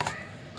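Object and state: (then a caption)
Fully dried ginger slices. Chopped ginger slices on a tray, sun-dried over two days, rattle crisply as they are handled, with two quick bright clicks followed by a short, dry fading rustle. The slices are completely dry and crisp, so there is no worry of fungus before they are blended into powder.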